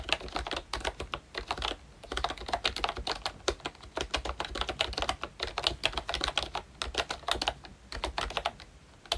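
A full-size ROYCHE Disney Mickey Mouse themed retro membrane keyboard with round plastic keycaps is typed on continuously with the fingertips of both hands. It gives a rapid stream of short, bright plastic clicks and soft thuds with almost no ring, broken by brief pauses.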